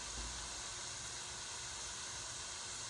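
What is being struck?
Nothing is struck.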